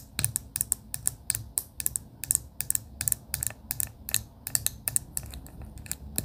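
Long pink acrylic nails tap on a clear plastic pen barrel with pastel beads inside. About 29 quick, sharp, bright clicks come in an uneven rhythm, each dying away almost instantly over a soft low rumble.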